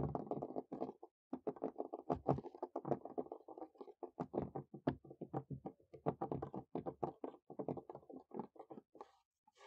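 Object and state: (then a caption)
Wooden picnic table. Natural fingernails scurry and tap quickly across the boards of a large, solid wooden picnic table top outdoors, close to the microphone. The result is a dense stream of rapid, dry taps and scratchy skitters with short, clipped decays and mostly low-mid body. It pauses briefly near the start and again near the end.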